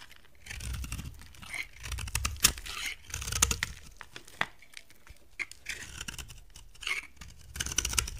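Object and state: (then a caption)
Dry bar soap being shaved. A box cutter blade shaves brittle flakes off a solid, dry brown soap bar with gold-coated faces, held in a hand with long dark nails. Irregular bursts of dry, crisp scraping and crackling cuts sound bright and papery, with short snaps and soft low thumps between quieter pauses.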